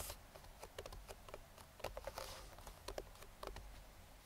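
Bare fingertips and short nails rapidly tap the side and lid edge of a hollow, printed cardboard speedlite box. The result is a quick, irregular series of soft, dry, hollow knocks with a faint midrange tone around 600 Hz and light, bright clicks from the nails. Each tap dies away almost instantly over a low background rumble.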